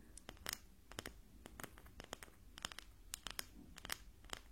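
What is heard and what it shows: A wooden ruler is tapped during a hearing test where the listener must tell wood from metal, and the answer, wood, is confirmed as correct. Many short, dry, bright clicks sound close to the mic, unevenly spaced, with almost no ring. A faint low hum sits underneath.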